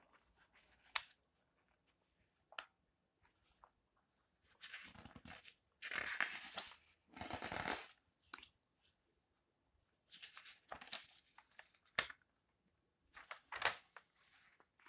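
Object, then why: Magazine with glossy coated paper pages. Fingertips with nails smooth the glossy coated paper pages of an open food magazine and then turn them. Quiet, bright swishes and crisp rustles alternate with sharp little ticks and clicks, and longer sweeping page-turn sounds rise and fade between short silences.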